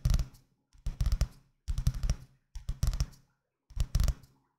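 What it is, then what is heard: Paperback book. Fingertips with painted nails tap and scratch the paper cover of a medium-sized, solid green paperback book held close to the microphone in both hands. Five separate bursts of quick, dull, low thumps mixed with bright, papery scratching are heard, each falling away to silence before the next.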